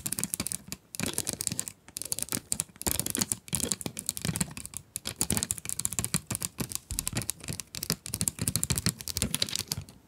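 Long nails scratch and tap rapidly across the plastic window and edges of a full 12-pack cardboard pencil box. The result is a dense run of dry, crackly ticks and scrapes with a bright hiss and a soft low thump under each tap. Each sound dies away at once with no ring.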